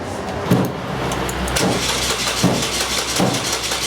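A car's fuel tank is struck from the back while the engine is being cranked, in an attempt to get a non-running fuel pump to turn on. Dull, hollow thumps land at intervals over a steady whirring cranking noise. The tank is judged to sound empty, and with the gas gauge reported not working, the verdict is an empty fuel tank.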